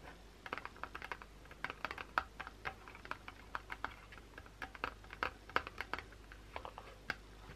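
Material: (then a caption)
Cardboard. Long pointed blue acrylic nails tap and scratch the top and sides of a small, closed white Dove cardboard box holding a bar of soap, resting on a towel. Quick, dry, papery clicks and short scratches arrive in an irregular stream, with a woody tone around 1.3 kHz and almost no ring. The quiet result sounds much like typing on a keyboard.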